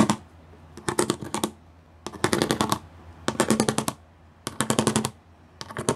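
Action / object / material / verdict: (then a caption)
tap / plastic studded sheet / plastic / none. Long glitter nails and fingertips tap quickly across a flat gray plastic sheet covered in rows of small raised pyramid studs. Rapid bursts of crisp, clicky taps come in about five separate runs with short quiet gaps between them. A low steady hum sits underneath.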